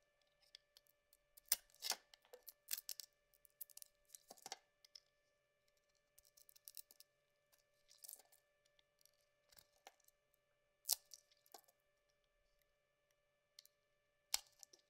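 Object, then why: Bar of soap cut with a metal blade. A small metal utility blade shaves and carves a solid, hand-sized yellow bar of soap held in one hand, peeling off soft curls. The result is a series of quiet, bright, crisp scraping and rasping strokes in short irregular bursts with brief pauses between them, over a faint steady hum.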